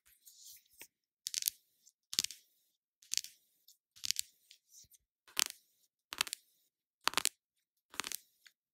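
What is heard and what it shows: Long nails tap and scratch on a small, flat, hollow pink cardboard blush box. The result is a series of short, dry, crisp taps with bright scratchy rasps, separated by brief pauses, with almost no low end or ring.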